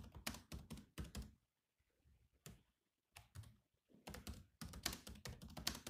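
Fingertips of both hands type steadily on the low-profile plastic chiclet keys of a grey metal-bodied laptop. Quick, dry clicks with a soft low thud come in bursts, separated by short quiet gaps.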